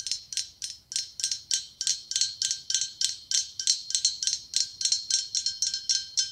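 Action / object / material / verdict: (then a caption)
tap / blown-glass pumpkin ornament / glass / none. Fingernails tap rapidly on the ribs of a hollow, ribbed, white blown-glass pumpkin with a gold stem. Each tap gives a bright, high glassy click with a very short ring, repeating in a quick, slightly uneven series with almost no low end.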